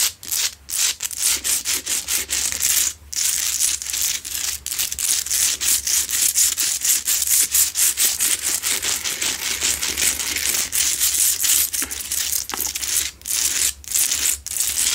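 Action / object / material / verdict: scrape / Himalayan salt rock lamp / rock salt / none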